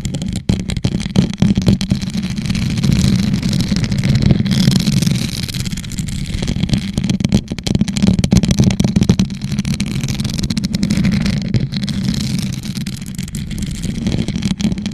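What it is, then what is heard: Rhinestone-covered plastic tumbler. A hollow teal rhinestone-covered plastic tumbler, turned upside down over a microphone, is scratched and tapped with long nails. The result is a dense, continuous rasping and clicking with a strong, boomy low resonance and faint bright grit on top.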